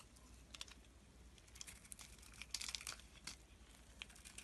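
A metal box-cutter blade shaves a solid oval blue soap bar with embossed lettering, held in one hand, peeling off curls and flakes. Quiet, bright, crisp scraping and crackling ticks come in short bursts, densest in the middle, over a faint low hum.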